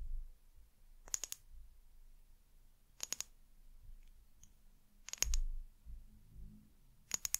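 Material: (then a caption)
Glass. Long nails tap and scratch a small amber glass bottle with a white plastic cap and paper label, held in the hand. Four short bursts of quick, bright glassy clicks with a brief high ring come roughly every two seconds. Between them is a quiet, low rumbling background.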